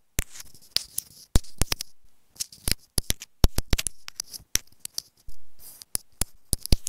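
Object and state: Plastic earphone inline remote.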